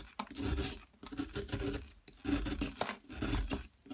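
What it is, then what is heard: Plaster block being scraped. A metal pick scrapes and chips at a yellow plaster excavation block, sending crumbly chunks falling away. Four gritty, rasping scraping passes rise and fade with short pauses between them, full of bright scratchy texture over a low rumble.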